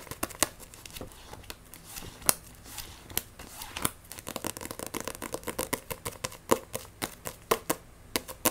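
Long nails scratch and grip the cover and spine of a Blue Exorcist paperback manga, a solid paper block. Quick, dry, bright taps and scrapes come over a low hiss, irregular at first and then in a quicker, steadier run after the midpoint. Each sound stops almost instantly, with no ring.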